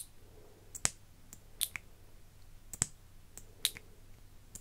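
An iridescent plastic lip gloss tube with a silver cap, partly full, has its cap opened and closed while fingers with long nails handle the wand. Eleven short, bright plastic clicks come in loose pairs and singles, each dying away almost instantly, over a faint low hum.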